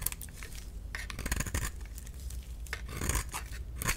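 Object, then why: Bar of soap. A solid light-green rectangular bar of soap is scraped with a utility knife, peeling off strips of soap. Dense, dry scraping and shaving sounds come in bursts, with soft crackling and low rumble underneath and bright, crisp edges on the strokes.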